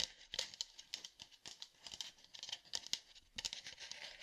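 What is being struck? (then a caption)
Plastic sports water bottle. Fingertips tap a hollow red plastic sports water bottle with a black cap, producing about twenty quick, dry, high-pitched clicks and taps in an irregular rhythm. Each tap is bright and crisp with almost no low end and virtually no ring, dying away instantly.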